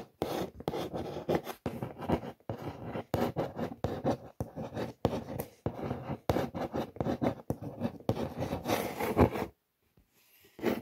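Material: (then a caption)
Cardboard. Long nails trace and scratch across the printed logo and text on a large brown corrugated cardboard shoe box. The result is a steady run of dry, raspy scratching strokes, each a short burst with brief gaps between. The strokes stop for about a second near the end, then resume.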